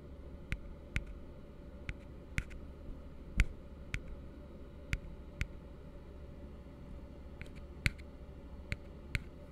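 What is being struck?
Upturned plastic tumbler.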